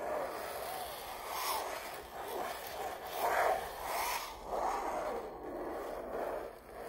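Long purple nails trace and scratch across the weave of a stretched red rose canvas print hanging on a wall, near its signature. The result is a soft, continuous scratchy rasp centered in the midrange, rising and falling in gentle swells with faint bright hiss and almost no low end.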